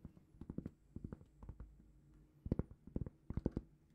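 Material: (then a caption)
Cork. A large, flat, solid round cork trivet held in both hands is tapped and scratched with long painted fingernails. Soft, dull, low taps arrive in quick clusters with light scratching between them, and each tap dies almost at once with no ring.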